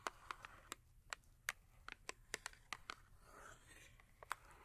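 Long acrylic nails tap and scratch the top of a small cardboard Yardley soap box that is full, holding a bar of soap. About 15 sharp, dry clicks sound with almost no ring, centred near 1 kHz with bright edges. Soft scratching fills the gaps between them.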